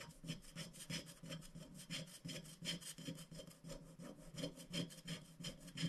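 A wooden stick scratches the black coating off a thin, flat scratch-art sticker sheet of black-coated paper lying on a glass board, using short strokes. The result is a quick, uneven series of dry, raspy scrapes with a bright, hissy top and a soft low body under each stroke.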